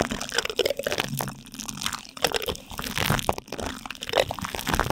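Two light-blue plastic spoons rub and scrape across plastic cling film stretched tightly over a silver microphone's metal mesh grille. The result is a close, continuous stream of crinkly crunching and scratchy scraping, with quick bright bursts rising and falling throughout.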